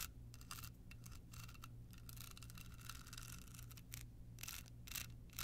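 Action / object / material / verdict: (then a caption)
scrape / small card holder covered in rhinestones / rhinestones / none. Long pointed nails scratch a small hollow rectangular card holder covered in clear rhinestones with a red bow, making quick bursts of bright, gritty scratching with a ringing tone near 2.7 kHz. The bursts start and stop in uneven clusters over a steady low hum.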